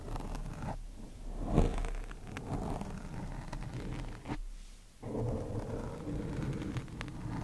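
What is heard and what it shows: Two thin wooden chopsticks poke and scratch a black foam microphone windscreen, making muffled, low, rumbling scrapes and rustles. The scraping peaks in a louder burst near the start, drops to a brief near-silence, then resumes as steady scratching.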